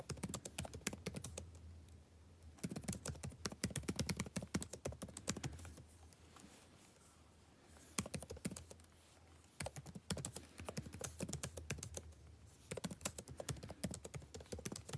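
Fingertips type continuously on a backlit laptop keyboard with plastic keys, producing bursts of quick, dry clicking taps with brief quieter pauses. The short, crisp key sounds sit over a low steady hum.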